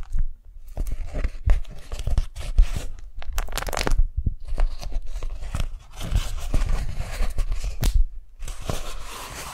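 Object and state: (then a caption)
Beeswax-coated cotton food wrap. A pink daisy-print beeswax-coated cotton food wrap is peeled apart at its stuck folds by fingers and stretched open flat. Sticky tearing and crinkling crackles come in quick, uneven bursts with brief gaps, mostly low in body with bright crisp edges.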